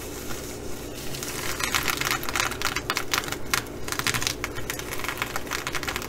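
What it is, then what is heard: Sequin fabric bag scratched. Long acrylic nails scratch the surface of a blue reversible flip-sequin fabric bag with both hands. The result is a rapid, irregular stream of crisp, bright clicks and rasps as the sequins flip, over a steady low background hum.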